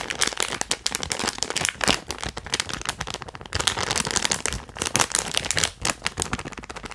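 A small, flat holographic foil-plastic zip-lock pouch is held in both hands and squeezed and crinkled with fingertips and nails. It makes a dense, bright crinkling with rapid crackles that rise and fall in short bursts throughout.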